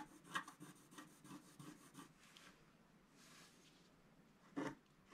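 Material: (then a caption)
Coated paper. A wooden stylus scratches in long strokes across a flat scratch art sheet, a black coating on paper, near its bottom edge. A quick run of dry, rasping scrapes fills the first two seconds, followed by a softer, hissy rub. Two sharper, louder scratches close the clip.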